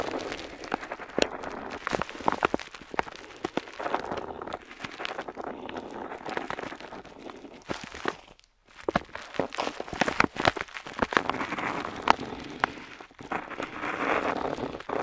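A metal dip pen nib scratches across a flat paper map sheet while tracing wavy lines. The sound is a dry, papery scratching made of many quick crackly strokes in the mids, with a brief pause partway through before the strokes resume.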